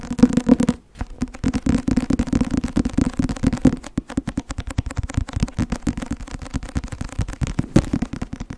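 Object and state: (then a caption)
Paperback textbook. Long nails rapidly tap and scratch the cover of a thick white and blue Academia Iuris softcover law textbook held at a tilt. The result is a dense run of short, dull, papery taps with a low, muffled body, broken by a brief pause near the first second and one sharper tap near the end.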